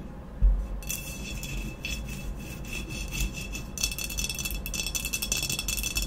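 Long nails scratch and rub the sides of an upright, hollow glazed ceramic vase with a matte black textured body. A soft knock near the start gives way to continuous bright, rasping scratches over a low rumble. The scratching grows denser and louder in the second half.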